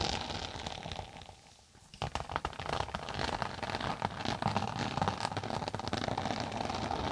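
Long acrylic nails tap and scratch the top of a closed, tablet-sized flat rectangular case with a textured floral-print synthetic cover over a stiff board, held flat above a binaural mic. Soft scratchy rustling fades to near quiet, then a dense, uneven stream of quick crisp taps and scratches runs with a bright, crinkly texture and little ring.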